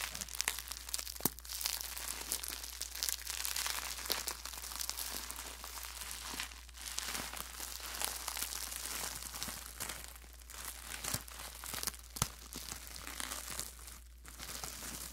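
A clear plastic bubble wrap sheet is crumpled and squeezed by hand, then unfolded and held up. It makes a steady, bright crinkling and crackling with scattered sharp snaps, all close and quiet.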